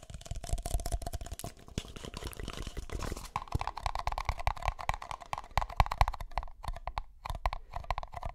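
Empty, hollow, red-and-white disposable plastic party cups are held in the hands and tapped rapidly with fingertips and nails. The taps form a dense stream of soft clicks and low, dull thumps with a faint hollow ring near 700 Hz. After about three seconds the ring shifts to a steadier tone around 1 kHz, with short pauses between bursts of tapping.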